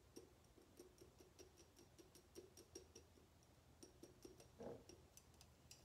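Long painted nails tap and click on the body of a tall, clear glass bottle that is mostly empty and held in the hands. Quick, quiet, bright clicks repeat at an uneven pace, each leaving a short glassy ring near 465 Hz. One louder, fuller tap stands out near the end.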